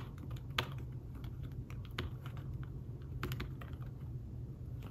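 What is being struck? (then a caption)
Fabric-covered tablet keyboard. Fingertips tap the keys of a thin, fabric-covered tablet keyboard case while typing. The soft clicks are short and muted, with a few brighter taps standing out over a steady low hum.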